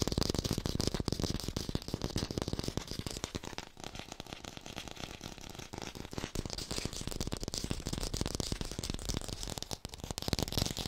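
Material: Plastic.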